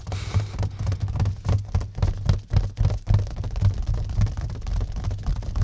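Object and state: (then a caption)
Plastic-wrapped mirror. Fingertips scratch and quickly tap the cling film wrapped over a flat mirror set in a white cardboard mat. The result is a fast, uneven run of dull, low thuds with a hissy scratching burst at the start. Each tap dies away almost instantly with no ring.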